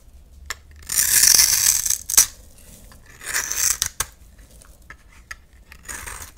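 A utility knife blade shaves and scrapes a solid oval yellow bar of soap held in the hand, cutting it into fine strands. Long, bright, dry scraping passes alternate with sharp short clicks and quieter rasps, all high-pitched with almost no low end.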